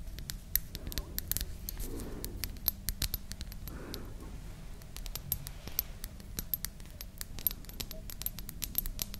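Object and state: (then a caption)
Glass dropper bottle. A small hollow glass cosmetic dropper bottle with a white dropper cap and liquid inside is held in both hands and tapped and scratched with long manicured nails. Quick, crisp, bright ticks and clicks patter steadily throughout, with short, soft scratching swells and a low background rumble underneath. Each tap dies away almost instantly.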